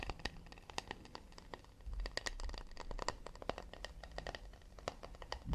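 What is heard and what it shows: Fingers tap quickly and delicately on a wooden plate made of acacia. It sounds like a rapid, irregular stream of short, dry clicks with bright tops and almost no ring, over a quiet low rumble.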